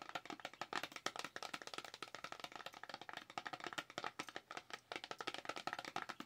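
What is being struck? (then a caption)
Small cardboard cosmetics box. A small, hollow white cardboard Dewy Skin cosmetics box, held up, is tapped rapidly with long acrylic nails. It makes a steady patter of dozens of quick, dry clicks with a hollow mid-pitched tone around 770 Hz and some bright edge. Each tap dies almost instantly, with almost no low end.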